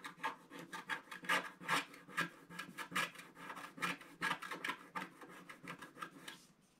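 A wooden stick scrapes the black coating on the right side of a flat scratch-art paper page in quick, repeated strokes. Each stroke gives a dry, raspy scratch that is bright in tone, with almost no low end and no ring. The strokes come in an uneven rhythm and fade out at the end.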